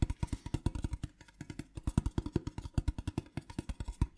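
A small, hollow, printed metal tin box with a pattern is tapped with fingernails while it is rotated. The result is a quick, steady run of short taps, each a dull, low, hollow knock with a faint bright click on top that dies away almost at once.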